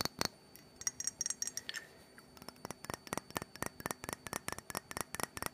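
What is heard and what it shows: Long fingernails tap the body and base of a small black glass perfume bottle holding orange liquid. About 24 sharp, bright clicks come with a faint high glassy ring, sparse at first and then a quick, steady run, each dying away almost at once.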